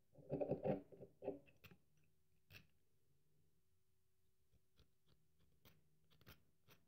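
A small metal carving tool scrapes and carves a solid, cream-colored bar of very dry soap held upright in one hand, so crumbly shavings pile up below. Dense, crunchy scraping bursts fill the first second or so, then give way to sparse, light crackles and brief ticks over a faint low hum.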